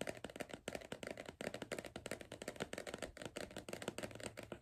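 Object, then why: Cardboard crisp tube. Fingertips and nails tap rapidly on the side of a hollow green cardboard Pringles crisp tube held in one hand. The result is a fast, steady stream of short, dry, hollow knocks with a mid-pitched cardboard resonance and a crisp clicky edge from the nails, each hit dying away almost at once.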